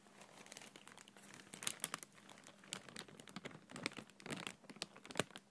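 An empty clear plastic bag held in one hand is crumpled and rubbed with the fingertips. The result is a quiet, continuous crinkling full of bright, sharp crackles and small snapping pops, over a faint steady low hum.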